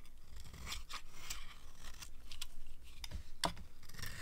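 A metal knife blade scrapes and carves the edge of a solid rectangular bar of dry white soap held in one hand, producing crunchy flakes. Short, bright, crackly scraping strokes come in quick succession over a soft low rumble.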